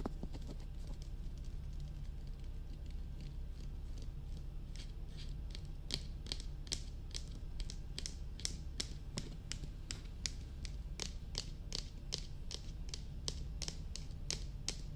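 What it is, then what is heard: Plastic dummy head microphone tapped with nails. Long nails tap on the top and sides of a hollow, glossy black hard-plastic dummy head microphone, making a steady run of quick, sharp clicks. The taps come faster and stronger in the second half, over a constant low hum.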